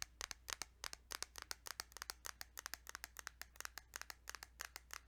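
Rapid fingertip tapping on a plastic Kirby's Dream Land 2 Game Boy cartridge produces about 35 quick, bright clicks over five seconds. Each tap is short and dry, with almost no ring, over a faint steady low hum.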